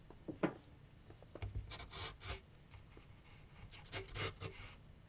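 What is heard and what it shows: A graphite pencil held in the fingertips scratches sketch lines across a medium white canvas/paper board resting on a wooden easel. Soft, dry rasping strokes come in short bursts with bright scratchy edges and faint low thumps from the board. The sound is quiet overall, with brief louder scrapes standing out against a near-silent background.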